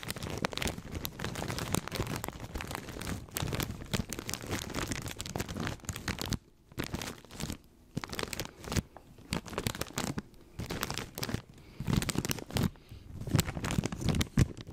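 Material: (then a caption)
Plastic. A full plastic snack bag of corn rings is gripped and crinkled with the fingers close to the mic, giving a dense run of crackling, crunchy rustles with a heavy low-end thump beneath. The crinkling pauses briefly at a few points in the middle, then returns in louder, sharper bursts toward the end.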